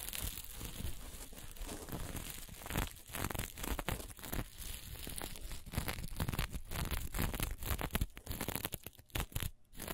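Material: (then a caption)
Plastic sequins. Long nails flip and scratch the sequins on a reversible green, blue and black sequin fabric held in the hands. The result is a fast, continuous run of crinkly, tearing scratches and rustles with a bright edge over a dull low rumble, in quick uneven bursts with a few short pauses near the end.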